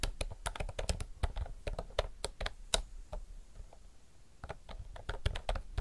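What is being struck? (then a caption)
Mechanical keyboard with round plastic keycaps. Fingertips type continuously on a retro mechanical typewriter-style keyboard with round plastic keycaps. Quick, sharp clicks with short decay come in an uneven stream, with a low thump under each press and a bright clack on the louder strokes. The typing eases slightly in the middle before picking back up.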